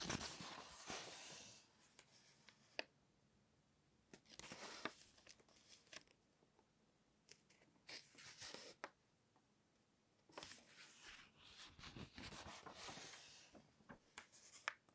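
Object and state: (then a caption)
Glossy paper magazine pages being turned. Fingertips lift and turn single pages of an open glossy paper magazine resting on a table, its recipe pages showing, rubbing and rustling the paper. Bright, crisp bursts of rustling and swishing alternate with quiet pauses, punctuated by sharp little snaps and ticks as each page flips over.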